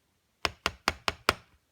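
Five sharp, bright taps on a green "Green Devil" firework assortment box made of fairly hard, plastic-laminated cardboard. Each knock is crisp and dry with a quick, short decay. The sound shows the box is firm.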